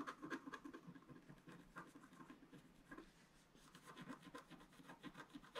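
A wooden stylus scratches the coating of a flat, black-coated scratch-art sheet, about A4 size, lying solid on a table, working at the bottom and along the right side. Short, dry, rasping strokes come in a quiet, steady rhythm with low-mid and midrange grain, easing briefly just past the midpoint before picking up again.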